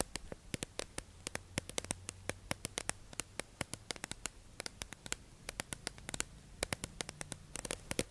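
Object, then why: Clear plastic tube package. A hollow, clear plastic tube-shaped package holding makeup sponges is held in the hands and tapped and scratched with long acrylic nails. A rapid, uneven series of sharp, bright plastic clicks and taps rises over a faint, hissy scratching bed. Each tap dies away almost instantly.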